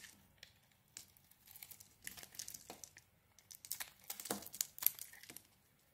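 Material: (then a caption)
Soap. A knife blade carves a solid bar of soap, purple outside and pink inside, into flaky chunks. Quiet, crisp scraping and crinkly crunches come in irregular bursts, mostly high and bright with almost no low end. Each cut ends sharply with no ring.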